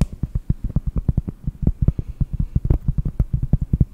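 A round, flat, solid cork disc is tapped and scratched with long nails. About 27 quick, dull, low taps come in a steady rapid run, each dying away almost instantly. A faint scratchy texture sits between the taps.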